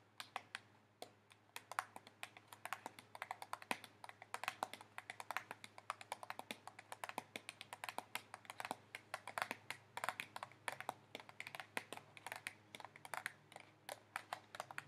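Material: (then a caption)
Paper. A thin, lightweight white disposable paper plate, held upright in both hands close to the microphone, is tapped rapidly with fingernails. The result is a quiet, continuous patter of short, dry, bright clicks that stop instantly, with no ringing between taps.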